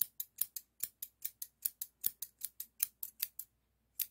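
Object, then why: Steel hair thinning shears. Solid stainless steel hair thinning shears with a toothed blade, held in hand, are repeatedly opened and closed. Nineteen short, bright metallic snips of rubbing and clicking blades come at an uneven pace, each ending almost at once, followed by a brief pause before the last snip.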